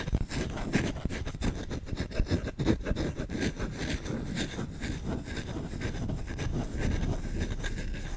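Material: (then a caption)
Wood. Fingertips scratch the back of the bowl of a solid wooden spoon held vertically, in fast, aggressive strokes. The result is a dense, continuous rasping scrape, mostly low and thumpy, with brief bright streaks on the harder strokes.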